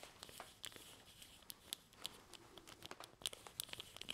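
A small, hollow-bodied plastic Evil-Lyn action figure with a plastic staff is held up in the hands, handled and scratched with the fingertips. About twenty quiet, sharp, bright clicks and scratches rise over a soft, crinkly rustle that is almost all high-pitched with very little low end. Each tick stops dead with no ring.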